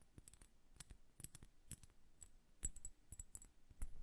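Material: Glass.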